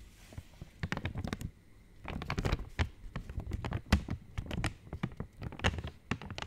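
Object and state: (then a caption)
Foil-lined plastic wrapper. An opened purple Cadbury Dairy Milk Silk wrapper of thin, foil-lined metallized plastic, hollow and flexible, is held in both hands near the mic and tapped and scratched with long painted nails. The result is a quiet, close stream of quick, dry taps and crinkly scratches with soft low thumps and bright clicky edges that die away almost instantly. The bursts come in clusters separated by brief near-silent pauses.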